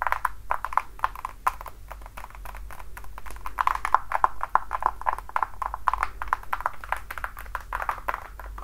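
Long dark nails tap and scratch the front of the platform and the upper of a red glossy patent-leather platform high heel with a thick block heel and buckled straps, worn on a foot. Rapid, dry clicks with a clear tone near 1 kHz come in quick bursts and die away almost instantly, over a steady low hum.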